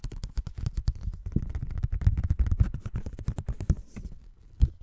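A thin folded paper Christmas card is held in both hands while fingertips rub and bend it, producing a rapid series of soft, dull crinkles and taps. The sound is low and muffled, with many short, quickly decaying clicks and rustles. A louder snap near the end stands out.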